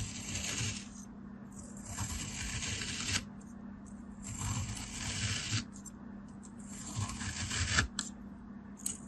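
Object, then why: Packed kinetic sand block. A black blade scrapes through a palm-sized, packed beige kinetic sand block, cutting it into thin ridged slices. Four grainy, hissy cutting passes stand out over a steady low hum, each leaving a bright rasping texture. The granular solid gives way with a soft, crumbly scrape rather than a clean snap.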